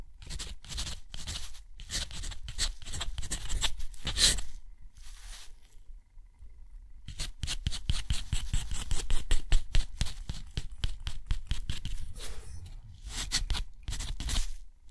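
A steel nib writes cursive words on a thick, rough sheet of white textured watercolor paper. Quick, uneven scratchy strokes rasp across the surface in short bright bursts, with a brief quieter pause midway before the writing resumes.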